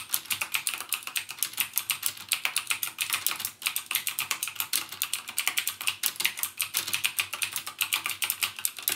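Fingertips type continuously on a backlit plastic mechanical keyboard with plastic keycaps and Cherry MX Blue switches. A rapid, steady stream of sharp, bright clicks is heard, each decaying almost instantly, with almost no low end.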